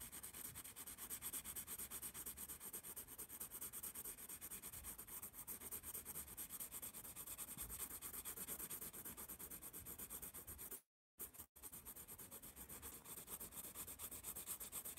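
A yellow pencil rapidly shades letters on a spiral-bound paper sketchpad held upright, making a steady, quick scratching and rubbing of graphite on paper with a bright, hissy texture. The dense strokes run continuously, broken only by a brief silence of about half a second near the eleventh second, before resuming.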